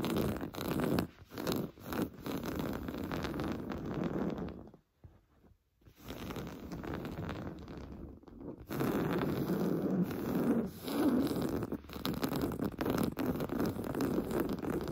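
Blue-painted fingernails scratch fast and hard across a large stuffed pillow covered in cream fine-weave fabric. The result is a dense, dry rasping with a low, muffled body, and it breaks off into near silence around the five-second mark. The scratching then resumes steadily for the rest of the clip.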